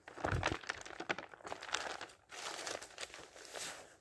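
Fingertips flip single thin printed paper pages of an open thick dictionary and fan them over. Crisp, crinkly rustles and soft papery swishes come in quick, uneven bursts, loudest in the first half-second, with a brief quiet gap just past two seconds. A steadier, airy rustle follows to the end.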